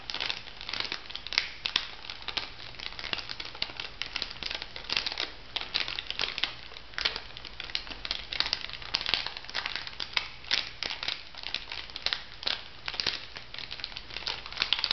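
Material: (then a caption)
Plastic foil. An orange plastic foil cosmetic sachet is crumpled and scratched with long nails, giving a steady, dense crinkle full of sharp, bright crackles. The rustling stays close and even for the whole clip, over a faint low hum.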